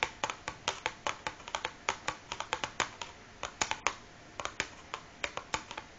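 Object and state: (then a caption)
Cardboard matchbox. Long fingernails of both hands tap and scratch the top of a large closed cardboard matchbox resting on a wooden table. About thirty sharp, dry, bright clicks come in an uneven rhythm, each dying away almost at once, with faint scratching between them and almost no low end.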